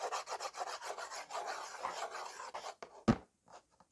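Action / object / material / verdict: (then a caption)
scrape / slate board scratched with a slate pencil / slate / none. A white slate pencil held in the fingers rubs and scratches back and forth across a small slate writing board in a yellow frame. It makes a steady rhythmic gritty rasping for nearly three seconds, then one sharp, louder scratch, followed by a few faint scrapes and near silence.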